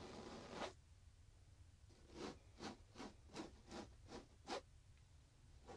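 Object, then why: Soft pillow with a polyester fabric case. Fingertips and short nails scratch a square, soft pillow in a printed fabric (likely polyester) case with a fishing illustration, held against the chest. A series of short, separate, bright rustling scratch bursts stands out over a low, steady background hiss.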